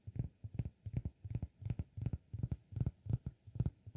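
Fingertips tap the face of a round, flat, solid cork disk held in one hand. Soft, dull, low thuds come in quick, uneven clusters with almost no ring, giving a muffled, thumping rhythm much like a heartbeat.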